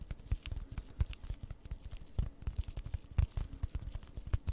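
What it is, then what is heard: Plastic-wrapped cardboard kit. Long red nails quickly tap and scratch the front of a flat cross-stitch kit, cardboard wrapped in plastic and held upright. The result is a fast, irregular run of dull, low thumps with faint crackly scraping between them. Each tap dies away almost instantly.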